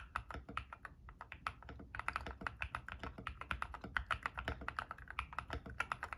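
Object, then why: Mechanical keyboard with PBT plastic keycaps. Fingertips type rapidly on an ilovbee i61 white-case 60% mechanical keyboard with frankenswitches using P3 stems and white and grey PBT plastic keycaps, resting on a desk mat. A steady stream of short, crisp clacks with a bright upper edge and a soft low thock beneath each press, with a brief pause near the two-second mark before the typing picks back up.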